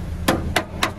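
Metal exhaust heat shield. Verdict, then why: Tight. The metal exhaust heat shield on a 2015–2020 Hyundai i20, refitted with bigger washers because its bolt holes had worn too big, is knocked three times after being secured. Each knock gives a short, dull tap that dies away quickly with no rattle, showing the shield is now rock solid.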